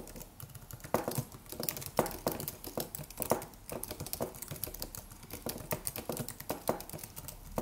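Fingertips of both hands tap the white plastic keys of a slim, silver, solid low-profile aluminum computer keyboard in a steady typing motion. The result is a quick, continuous patter of short, dry clicks with a few louder key strikes standing out, each tap fading almost at once with a mid-range tone around 500 Hz.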